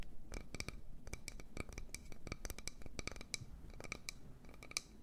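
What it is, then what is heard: Wooden bowl. A wooden bowl is tapped and scratched, producing a rapid series of short, dry clicks and scrapes with a bright ringing edge around 2.3 kHz. The sound is quiet overall, with low rumble underneath and each tap dying away almost instantly.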